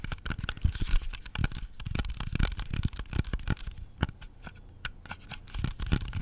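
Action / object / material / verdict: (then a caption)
tap / whole apple / apple skin / none. Fingernails tap and scratch the skin of a whole, solid red-yellow-green apple with fast nail taps. A rapid patter of dull, low, dry taps is mixed with brief bright scratchy clicks, each stopping at once with no ring.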